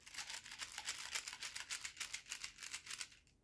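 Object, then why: Steel balls shaken in a container. A container of larger 3/8-inch steel slingshot balls from a Daisy P51 slingshot kit is shaken. The result is a quick series of bright metallic rattles, each burst short and clattering, which fade out at the end.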